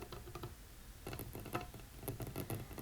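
Rapid fingertip tapping and light scratching on a folding wooden tray table produce soft, quick patters in irregular bursts. The taps are dull and low, with a brief woody knock and almost no ring.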